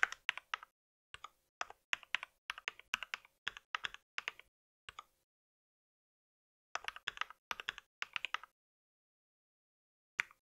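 Fingertips of both hands type on a compact white mechanical keyboard with plastic keycaps. Bursts of quick, bright, clicky key taps are separated by pauses, including a long silence in the middle.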